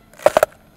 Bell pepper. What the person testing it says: è fresco, scrocchia come le patatine fritte, quelle comprate dentro al sacchettino